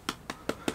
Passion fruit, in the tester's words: 두들겨 봤을 때는 뭔가 안에가 좀 비어있는 느낌으로 좀 둔탁한 소리가 납니다